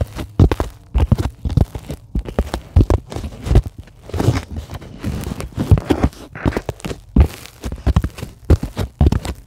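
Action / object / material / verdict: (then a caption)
scrape / polyethylene foam sheet / polyethylene foam / none. Long glittery acrylic nails scratch and tap a flat, solid white sheet of closed-cell polyethylene foam. A rapid, uneven run of short, dry, dull taps with a low, muffled thump stops almost instantly, mixed with brief scratchy rustles across the surface.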